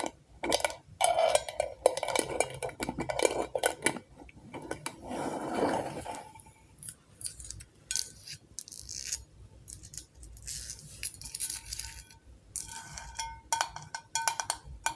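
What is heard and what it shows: Long acrylic nails tap rapidly on a medium glass mason-style jar candle full of orange wax and on its gold metal screw lid. The result is a dense run of quick, bright clicks and clinks with very short ring and a faint tone around 530 Hz, with some stretches of light scraping between bursts of tapping.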